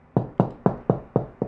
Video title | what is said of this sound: HOW TO FIND ANY WALL STUD! 3 EASY METHODS | simply knock on the drywall and listen for a hollow sound